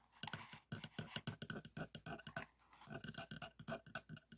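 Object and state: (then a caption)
Plastic hand air pump, hollow barrel. Fingertips and nails tap and scratch along the textured plastic barrel of a hollow, teal cylindrical balloon hand pump with a yellow end cap and plunger, lying on a table. About two dozen quick, dry taps come in uneven bursts, each a hollow low thump with a clicky bright edge that dies almost at once, with scratchy rasps between them.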